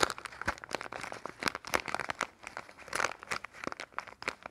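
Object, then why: Plastic film soap wrapper. Fingers crinkle, fold and rub a small, printed red and yellow plastic-film soap wrapper. Dense, dry crackles and crinkles snap in quick irregular bursts, bright and papery with almost no low end. Each crackle dies away almost instantly.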